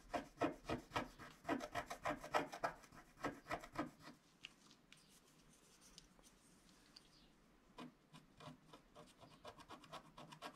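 A wooden stylus scratches repeatedly across a flat black wax-coated scratch-art card lying on a cloth-covered table, with the other hand held flat on the sheet. Quick, fairly regular dry rasping strokes fill the first four seconds, followed by a quiet stretch with faint scraping. Lighter, softer strokes then resume toward the end.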